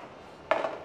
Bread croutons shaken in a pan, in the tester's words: pag luto na yan, pag inalog mo, ayan ho, ilalapit ko sa mic, yung tunog malutong